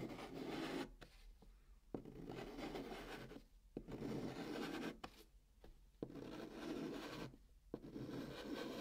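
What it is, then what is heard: Chalk rubbed on a cardboard box. Fingers with painted nails draw pink chalk in arcs across the hollow surface of a brown cardboard box. Soft, dry scraping strokes with a warm midrange rub are heard, separated by brief quiet gaps and small sharp taps where the chalk meets or leaves the cardboard.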